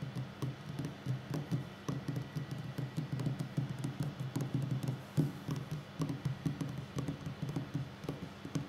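Fingertips and short nails of both hands tap a solid wooden tabletop in rapid drumming. Quick, dull knocks come in uneven bursts, with a low woody body near 150 Hz and short, dry decays. Faint light clicks from the nails sit on top.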